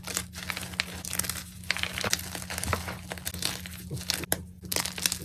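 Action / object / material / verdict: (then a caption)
scrape / block of magnesium carbonate gym chalk / magnesium carbonate / none. Both hands squeeze and crush broken white gym chalk block (magnesium carbonate) pieces and powder in a container. The result is a dense run of bright, dry crunching and crinkling crumbles, with short sharp cracks over a steady low hum.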